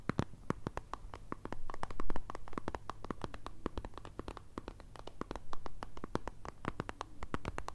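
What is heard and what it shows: Long red acrylic nails rapidly tap and scratch along the plastic body and cap of a white Nivea squeeze tube, hollow and filled with cream, held in the hands. Quick, sharp clicks and light scratching come in a dense, uneven stream over a soft, low hum.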